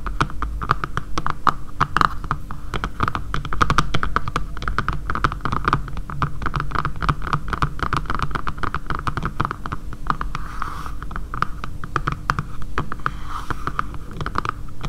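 Long painted nails tap quickly on the back of a dark grey matte plastic phone case lying flat on a table. The sound is a dense stream of short, dry clicks over a steady low hum and a faint tone near 1.2 kHz, continuing at an even level throughout.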